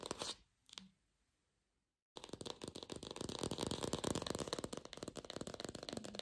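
A glossy red artificial apple with a stem, likely hollow plastic, is fast-tapped and scratched with long pink fingernails. A short scratching burst and a faint tap fade into a second of silence. Then comes a dense, uneven run of quick, crisp plastic taps and scratches with bright clicky edges and a light, hollow body.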